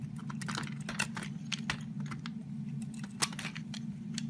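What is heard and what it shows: A metal box-cutter blade shaves thin layers off the edge of a solid purple oval soap bar held in the hand. Quick, crisp, bright scraping strokes crackle over a steady low hum, with one sharper cut standing out near the end.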